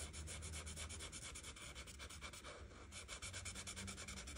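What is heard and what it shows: A felt-tip art marker, held by a hand with red nails, rubs back and forth across a thin printed paper page of a coloring book lying flat. Quick, steady strokes make a soft, bright scratchy swishing over a low hum that continues for the whole clip.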